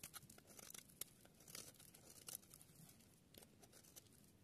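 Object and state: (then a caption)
Dry soap bar being shaved. A palm-sized, dry, solid yellow bar of soap is held in one hand with long dark nails while a small metal blade shaves along its edge, carving off curls and flakes. Quiet, dry, bright scraping and crunchy crackles come in irregular bursts with short, sharp clicks and no ring.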